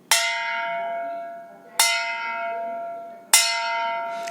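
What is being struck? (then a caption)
Metal bottle. A metal bottle is struck three times against a hard object, each hit giving a bright, clear metallic "tan" that rings on with steady high tones before slowly fading. The ringing sound shows the bottle is metal, demonstrating the sonorous property of metals.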